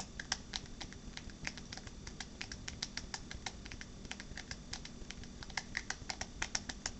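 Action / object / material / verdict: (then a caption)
tap / smartphone in a rubber and plastic case / plastic / none. A smartphone in a purple rugged rubber and plastic case is held upright in one hand while the fingernails and fingertips of the other hand tap on the back of the case. The result is a rapid, uneven stream of short, dry, bright clicks that die away almost instantly, like quick typing over a low, steady background hum.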